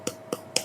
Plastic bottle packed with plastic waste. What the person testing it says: enggak lembeklah dan benar-benar padat dia jadinya tidak ada bunyi botol